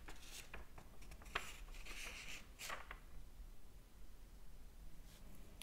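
Fingers flip and fan the thin paper pages of a large open hardcover book. Quiet, papery rustles and soft flicks come in an uneven run, with brief bright swishes as pages turn and settle.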